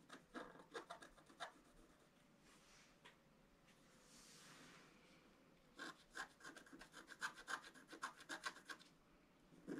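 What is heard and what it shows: A thin wooden stylus scratches a flat black wax-coated scratch art sheet in a book, first near the bottom and then in the center. Quick, dry rasping strokes come in bursts, with a soft airy hiss through a quieter stretch in the middle. The strokes then return faster and brighter, some carrying a faint squeak around 1.6 kHz.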